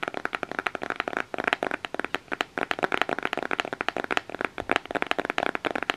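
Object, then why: Cardboard palette case. Fingernails tap and scratch the printed front cover of a closed black cardboard eyeshadow palette case. It makes a rapid, steady run of short, dry clicks with a papery, mid-pitched tone around 700 Hz. There is almost no low end and no ring after each tap.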